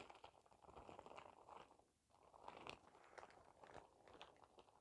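A clear plastic shower cap with a cartoon print and an elastic edge is squeezed and crinkled in the hands. It makes a quiet, continuous crinkling and crackling, centered in the midrange with brighter snaps on top. The crinkling briefly fades around the two-second mark, then picks back up and carries on steadily to the end.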